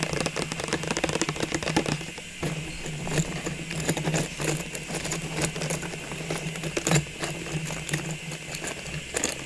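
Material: Plastic.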